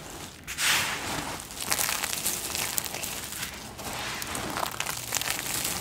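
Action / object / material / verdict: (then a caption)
scrape / pile of soap flakes and chips / soap / none. Both bare hands press, rub and scrunch their fingertips through a large heap of small, multicolored dry soap flakes and chips, solid crumbly pieces piled on a dark surface. The result is a steady, bright, crisp crunching and crackling with little low end, rising into denser bursts as the pieces are crushed.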